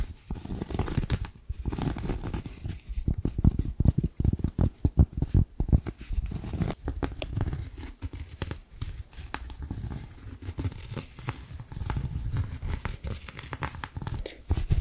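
Long acrylic nails scratch and tap a round, flat, palm-sized coaster of white coiled cotton rope, solid and soft, held up in the air. The result is a dense, irregular stream of quick, dull scratches and soft taps, mostly low and muffled with little brightness and no ring.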